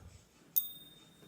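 A 1988 Australian 1 oz Gold Nugget coin is gently tapped in a ping test, giving one sharp, bright metallic ping with a clear high ringing tone that slowly fades. The ping supports the finding that the coin is real gold, though whether it was actually minted by the Perth Mint is uncertain.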